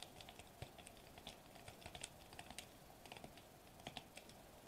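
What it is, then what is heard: Foil bubble wrap sheet. Fingertips tap rapidly on a sheet of foil-laminated plastic bubble wrap lying flat on a table. The result is a quiet, irregular run of short, dry, bright clicks that stop almost instantly, sounding much like typing on a keyboard.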